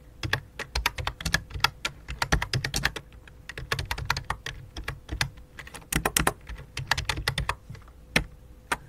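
Both hands type rapidly with their fingertips on a full-size white and light-blue plastic computer keyboard with a hollow plastic body. The result is a fast, uneven stream of short, sharp, clacky keystrokes with bright tops and a hollow low thump, all over a faint steady hum.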